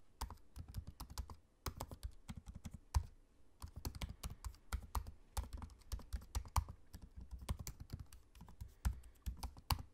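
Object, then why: Laptop keyboard with plastic keys. Fingertips of both hands type on the low-profile black plastic keys of a space-grey aluminium laptop keyboard. The keystrokes are quick, soft, dry clicks with a low, thuddy body and very short decay, coming in uneven bursts. There is a brief pause in the typing around the three-second mark.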